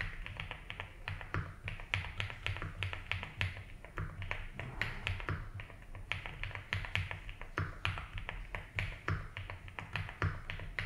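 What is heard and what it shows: Fingertips type steadily on a 75% mechanical keyboard with ABS keycaps and a light blue plastic case. The result is a stream of short, dry keystroke clicks with bright upper clatter and a soft low thud beneath each press.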